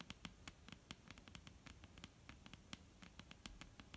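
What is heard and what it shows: Long, almond-shaped painted nails tap a solid, flat, dark-brown wooden tabletop in a quick, irregular series. Each tap is a quiet, sharp, dry click with a bright top and a soft low knock underneath, dying away almost instantly. A faint hiss sits beneath the taps.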